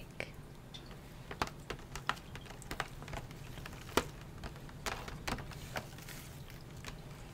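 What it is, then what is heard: Cardboard pencil box with plastic window. Fingertips and nails tap rapidly on a flat, printed cardboard drawing-set box with a round clear plastic window over pencils, lying on a bamboo mat. The taps are short, dry, irregular clicks, some sharper and brighter, over a quiet low background.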